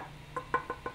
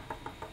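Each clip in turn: First: 3D-printed plastic axe head. Second: wooden handle, real wood.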